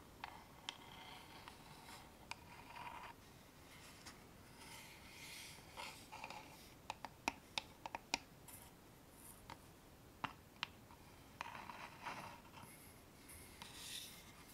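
A small, dark, hollow wooden box with a metal clasp, held up closed, is scratched and rubbed across its surface with long nails. Soft, bright scratching and rubbing swells come and go, broken by scattered sharp, quick clicks and taps that die away almost at once.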